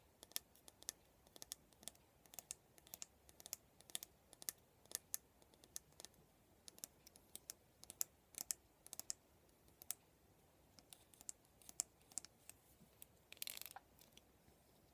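Fingernails tap and click along the handle of a black plastic cushion hairbrush with a silver band. Quiet, sharp, bright clicks come in an irregular, close-set stream over a faint hiss, and a brief, brighter scratchy burst sounds near the end.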